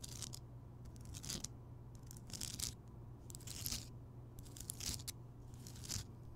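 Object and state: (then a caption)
Rock salt lamp. Fingertips and nails tap and scratch around the rough surface of a large, rounded, solid Himalayan rock salt lamp that is lit. Irregular bursts of bright, crackly scratching rise and fall over a steady low hum, with short dull taps between them. The sound is quiet throughout.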